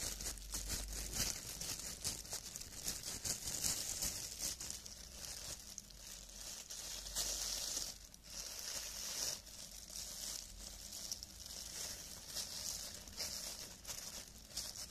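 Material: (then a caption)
Plastic film. Hands wearing clear, thin cellophane plastic film gloves rub and squeeze together, crumpling the film. A steady, quiet stream of bright, high crinkling and crackling continues with little low-end body.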